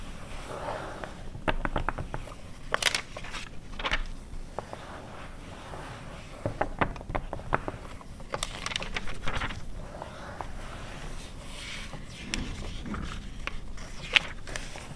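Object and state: Glossy paper magazine.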